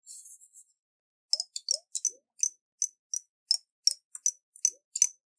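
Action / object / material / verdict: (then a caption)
tap / glass jar with water / glass / none. Fingernails tap a round, hollow glass jar with a metal lid and water inside, held in the hands. After a soft, faint opening sound, a quick, uneven run of about fourteen bright, clicky taps follows. Each tap is a very short, high, glassy tick, some with a small rising watery bloop underneath.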